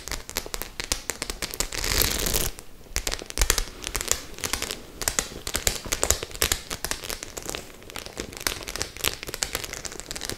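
Long nails scratch across the studded surface of a white faux-leather clutch bag. The result is a dense run of sharp, bright clicks and crackly scrapes, with a louder sustained rasp near the two-second mark.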